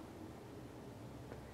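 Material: Nothing is struck.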